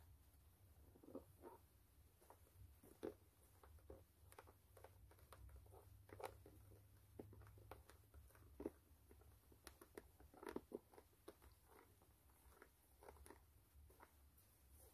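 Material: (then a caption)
Rubber. Long manicured nails scratch and tap the brown textured rubber outsole of a white canvas low-top sneaker held in the hand. Quiet, dry scratches and short, sharp clicks come in an irregular patter over a steady low hum, with each click dying away almost at once.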